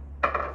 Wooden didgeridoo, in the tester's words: they knock on it but you can see how it sounds hollow